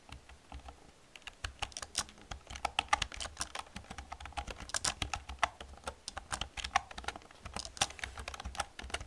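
Long painted nails and fingertips type fast on a black plastic computer keyboard with hollow plastic keys. A rapid, uneven stream of bright, crisp clicks and hollow clacks carries on throughout, with each tap dying almost instantly over a faint low hum.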